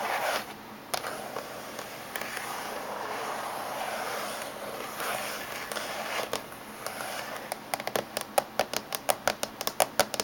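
Fingernails tap on the top surface of a closed silver laptop casing. A soft, rustling scrape-like hiss with a few scattered clicks fills the first seven seconds, then a quick run of sharp, dry clicks follows, each stopping almost instantly with no ring.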